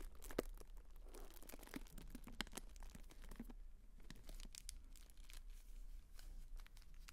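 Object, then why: Tissue paper honeycomb fan. Fingertips crinkle a pink tissue-paper honeycomb fan and fold it closed close to the mic. The result is a soft, continuous stream of papery crackles and tearing-like rustles over a low background rumble, with a brief sharper crackle near the start.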